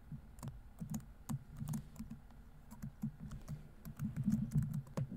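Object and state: Plastic laptop keyboard.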